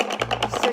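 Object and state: Bottle rattle with wooden clothespins inside.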